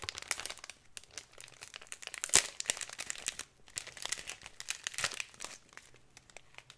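A thin plastic packet of glitter with a cardboard header is crinkled and rubbed with fingers and nails. Dense, bright crinkling comes in quick dry bursts, with a sharper crackle partway through and a brief pause before the rustling resumes.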